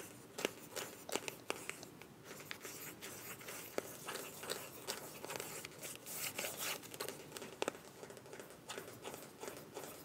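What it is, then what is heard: Small plastic cosmetic tube. Long nails tap and scratch a small, filled white plastic cosmetic tube with a mint cap. The result is a quiet, steady run of bright, crinkly scratching with sharp, quick taps that die away almost instantly.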